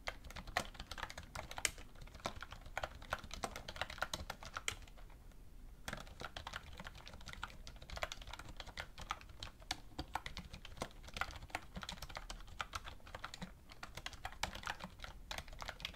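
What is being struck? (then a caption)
Plastic computer keyboard. Fingertips with red-painted nails type continuously on a black plastic computer keyboard resting on a wooden desk. Quick, dry plastic key clicks are heard, bright in tone and dying out almost instantly. There is a short lull near the five-second mark before the steady typing resumes.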